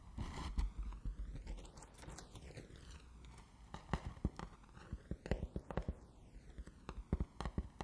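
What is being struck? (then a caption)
Cardboard box. A hollow, closed rectangular cardboard gift box with a yellow, white and black "BANANA" print is held in both hands and tapped and scratched with fingertips and nails. Quiet, dull taps and soft scratchy rustling come in uneven bursts, with most of the energy low and the hits dying away almost at once. A swirling, sweeping tone runs through the whole clip.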